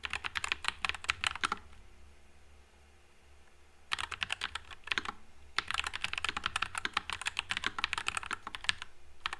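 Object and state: Mechanical keyboard with plastic keycaps.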